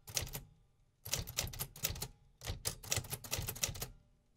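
Fingertips tap steadily on the keys of a vintage hollow metal 1950s typewriter. Three quick bursts of bright, crisp mechanical clacks, each with a low thump, are separated by short pauses. Each strike cuts off almost immediately.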